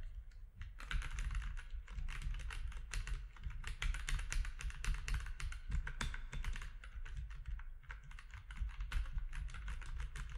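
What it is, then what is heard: Plastic mechanical keyboard. Fingertips of both hands type steadily on a compact mechanical keyboard with grey, white and orange plastic keycaps. The clip is a continuous run of short, crisp clicky key strikes with a low, steady rumble underneath. The keystrokes are too dense to count individually.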